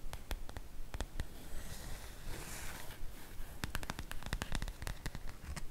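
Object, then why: Cotton fabric makeup bag. Fingertips and nails scratch across a sprinkle-print cotton fabric makeup bag lying flat on a table. Quick, dry ticks and clicks come in an uneven patter, with a soft, bright rasp of scratching rising in the middle of the clip. A low, steady rumble sits underneath.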